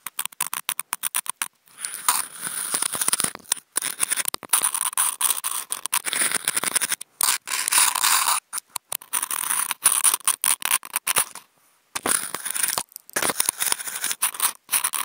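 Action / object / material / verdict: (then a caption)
scrape / corrugated cardboard sheet scratched with wooden toothpicks / cardboard / none. Wooden toothpicks fitted with contact mics are scratched rapidly across a large flat corrugated cardboard sheet. The result is dense, bright, scratchy bursts with a squeaky edge centered near 1 kHz and almost no low end. The bursts are broken by short silent gaps.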